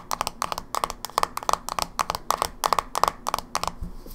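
Long nails tap and scratch the flat top lid of a closed, small, hollow silver plastic Game Boy Advance SP held in one hand. Quick clusters of sharp, dry clicks with a bright, hollow ring around 1 kHz repeat in a fast, uneven rhythm, with faint scratching between bursts.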